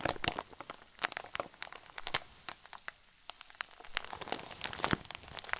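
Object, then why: Plastic zip bag with soft stuffing. A clear zip-lock plastic bag full of white fluffy filling is squeezed with thumbs and fingers. It gives off soft, irregular crinkling and sharp, bright crackles that come in quick bursts with short quiet gaps. Each crackle stops almost instantly.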